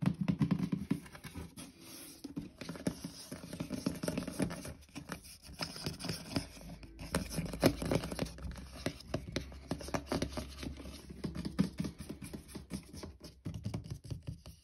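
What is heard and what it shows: Fingertips and nails patter and scratch across the lid and sides of a closed, hollow white cardboard shoe box for OF AF1 shoes, with a label on the end. Soft, dull taps with a low, boxy thump are mixed with dry scraping and light scratching. The sound is quiet and close, in a steady stream of brief hits that die away at once.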